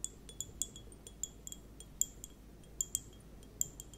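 A small, sealed, hand-held transparent hourglass-shaped timer, probably plastic, is filled with purple liquid and clear gel beads. It is held in both hands with long painted nails and tilted and turned so the beads clink and shift inside. About a dozen quiet, irregular, bright high clinks sound, each very short with almost no ring, over a faint low background hush.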